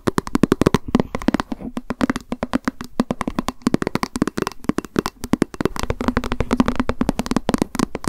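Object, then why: Plastic lunch box. Long nails tap quickly on a small, hollow white plastic lunch box with a cat print, held in the hands. Dozens of fast, dry clicks come in dense bursts, each with a hollow mid-low body around 230 Hz and a bright tick on top that stops almost instantly.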